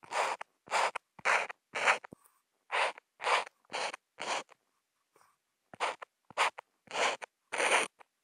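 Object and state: Marker scribbling on Kent paper.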